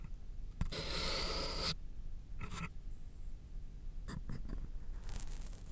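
A pencil held in the fingers scratches across a flat white paper sheet resting on a thick, solid layered board, writing the word "Hello." A long, bright, hissing stroke comes first, followed by a shorter scrape, then a run of quick, light scratches and a final bright stroke, all over a low, steady background rumble.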